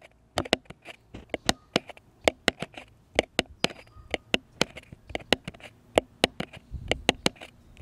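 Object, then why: Flat wooden cross cutout. Fingertips and nails tap a flat, solid, light-colored wooden cross cutout about a hand-length long, held upright. About 25 short, dry, bright clicks come in an irregular, quick pattern, each dying away almost at once.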